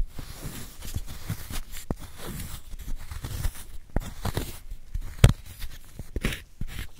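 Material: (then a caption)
Chalk. A solid white gym chalk block is held in a gloved hand while a wooden spoon scrapes powder out of its hollow. The sound is a soft, low crumbling scrape with short dry crunches and a few sharper clicks scattered through it.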